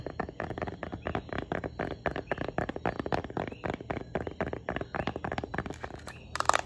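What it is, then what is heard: Tablet in plastic folio case. Long painted nails rapidly tap and scratch a light blue folding smart cover on a tablet in a plastic folio case, held in both hands. Dense, dry clicks and scrapes follow one another with very short decay, ending in a brief louder scratching burst.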